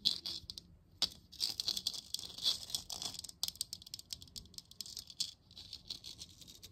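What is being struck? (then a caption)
Plastic moon lamp sphere. Long nails tap and scratch a hollow printed-plastic moon lamp about 15 cm across, lit from inside and held in both hands. Quick, dry, bright clicks come in uneven clusters, mixed with rasping scratches. Each sound dies away almost at once, with no ring or low body.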